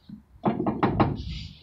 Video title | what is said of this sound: Full pre trip inspection | you can hear some play right there, but that's because it was spinning